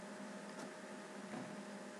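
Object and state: Nothing is struck.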